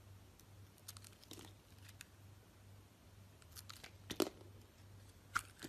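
A utility knife blade shaves thin slices off a solid orange bar of soap with green crust remnants on its edges, held in a hand with long nails. Quiet, crisp crunching and scraping strokes come at an irregular pace over a steady low hum. The two loudest, brightest cuts land near the end.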